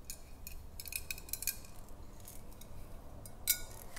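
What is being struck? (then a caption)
Glass swing-top bottle with a little water. Long acrylic nails tap along the side of a large clear glass swing-top bottle with a wire cap, held horizontally and holding some water. The result is a quiet series of light, bright, glassy clicks that die away almost instantly over a soft low rumble, with one sharper tap near the end.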